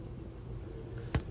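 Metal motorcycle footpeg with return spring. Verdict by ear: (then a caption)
Sturdy. A spring-loaded metal footpeg on a Honda motorcycle is flipped or knocked, and it snaps back with a short, solid clack over a low background hum. A fainter second tap follows, and the knock has a low, deep body with a quick decay, suggesting a sturdy, well-built peg.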